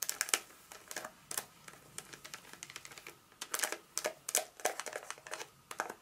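A solid Hershey's milk chocolate bar in its paper wrapper, held in the palm, is tapped and scratched with long acrylic nails. Quick, irregular bright clicks mix with dry, crinkly scratching of the paper. Each sound is short and quiet, with almost no ring and no low end.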